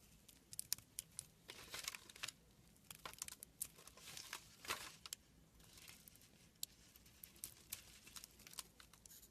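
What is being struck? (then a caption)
Glycerin soap bar. A small green plastic-handled carving tool scrapes and gouges a hand-held, palm-sized, solid brown translucent glycerin soap bar, flaking off thin orange shavings. Quiet, bright, crisp crinkling and scratchy ticks come in irregular bursts with a few sharper clicks. The strokes stop dead with no ring.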